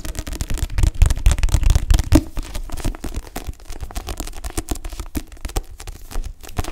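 Long nails and fingertips tap and scratch the back cover of a paperback book held upright, its glossy card cover over solid paper pages. Rapid, irregular dull taps with crackly scratching, heaviest in the low end, are loudest in the first two seconds, then continue softer with a few sharper taps near the end.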